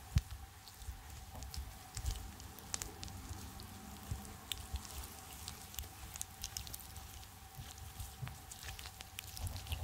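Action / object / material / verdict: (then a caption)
scrape / soft polymer slime squeezed in the hands / polymer slime / none. A handful of soft, sticky purple polymer slime is squeezed, stretched and kneaded between the fingertips and palms of both hands close to the microphone. Wet squishing and sticky popping crackles sound over a low, dense rumble, with many quick bright clicks and snaps scattered throughout at a quiet, steady level.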